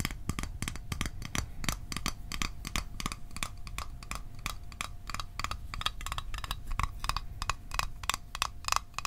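A small, hollow, closed rectangular metal Altoids mint tin, held in the hands, is tapped quickly and irregularly with fingertips and fingernails. The result is a dense stream of short, dry metallic clicks with a bright edge and a faint tinny ring around 1.1 kHz, over a soft low thud from the fingers.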